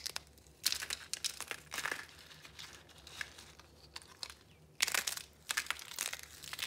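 Layered, rainbow-colored pieces of dried soap, solid and brittle, rest on a red cloth and are broken and crushed between fingers into crumbs. The result is bright, dry crunching and crinkling crackles in irregular bursts separated by quieter gaps, with almost no low end.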